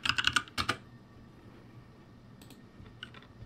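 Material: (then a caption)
Plastic. Fingertips type on a backlit ROCCAT G65 mechanical keyboard with plastic keycaps, giving a quick burst of seven bright, sharp clacks in the first second. Softer, scattered key clicks follow after a pause over a faint steady hum, each click dying away almost instantly.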